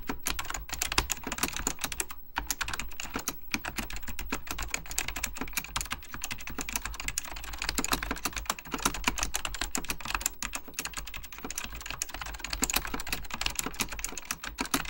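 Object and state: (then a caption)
Plastic mechanical keyboard being typed on. Fingertips type rapidly on an Apple Extended Keyboard II, a mechanical keyboard with beige plastic keycaps and a hollow plastic case. A dense, continuous stream of short, bright clacking key taps with quick decay plays over a steady low hum.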